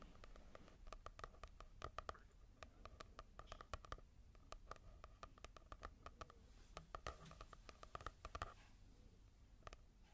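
Long nails tap and scratch across the cover of a matte paperback manga volume, a solid paper block. Quick, sharp, dry taps come in irregular bursts with a faint tone around 1.2 kHz, and soft scratching fills the gaps. The overall level stays quiet.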